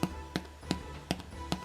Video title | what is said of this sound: How I Make Whole Wheat Bread | tap the bottom and see if it sounds Hollow